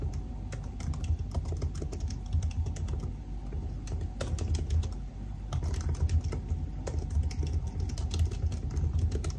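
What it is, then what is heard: Laptop keyboard with plastic keys. Fingertips type on a silver aluminium laptop with black plastic keys, producing a rapid, uneven stream of short key taps with bright clicks. The taps sit over a steady low rumble, with no pauses long enough to separate them.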